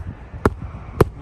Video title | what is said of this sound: How To Repair Your Asphalt Shingles Roof - Easy Tips | When you're nailing them, it sounds solid all the way through, like it's not, popping through.